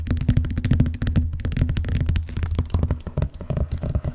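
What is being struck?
Vinyl-covered ring binder.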